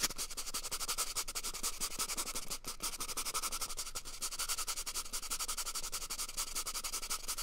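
Fingers quickly rub and scratch the surface of an empty, hollow brown cardboard toilet paper tube held close to the mic. The result is a dense, continuous stream of dry, bright scratching with rapid, irregular pulses and a faint low rumble underneath.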